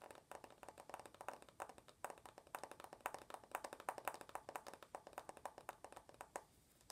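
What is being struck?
Smartphone with glass front and aluminum body.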